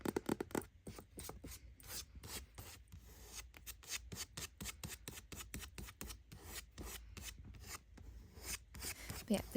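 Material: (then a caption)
Paper. A hardcover copy of New Moon, from the Twilight series, is scratched across its cover. The scratching makes quick, repeated dry rasping strokes in an uneven rhythm.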